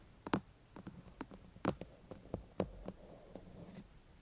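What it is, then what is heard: Hollow plastic microphone housing. Fingertips and nails tap and scratch along the top and front of a white, hollow plastic binaural microphone housing. About eight short, dry clicks and taps stand out over soft scratching and a faint low hum, with very little ring after each hit.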